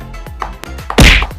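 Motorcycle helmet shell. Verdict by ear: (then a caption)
Solid. A finger flicks the shell of an SEC Strike Hurricane motorcycle helmet, giving sharp, short whacks with low thump and bright click, the last one loudest with a brief noisy burst. The shell sounds very solid and is judged to have passed quality check.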